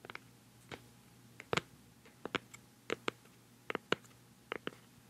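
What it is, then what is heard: Plastic cosmetic jar tapped. Long fingernails tap rapidly on the black lid of a hollow, round white plastic cosmetic pad jar held close to the microphone. Irregular bursts of sharp, dry, hollow clicks with bright ticks stop almost instantly over a quiet background with a faint low hum.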